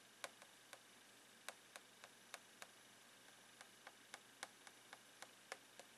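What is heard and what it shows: A blue plastic pen taps the clear plastic lid of a long retail box full of rolled socks. Seventeen quick, light, bright ticks sound at an uneven pace over a steady faint hiss, and each dies away almost at once.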